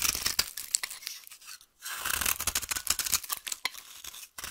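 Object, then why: Bar of soap. A solid, dry, translucent yellow soap bar held in the hand is scraped and carved with a utility knife blade. Dense, bright, crackly scraping and shaving strokes come in quick bursts, with a short silent break near the middle and another near the end.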